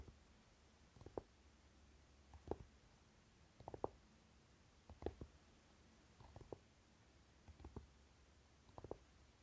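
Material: Velvet.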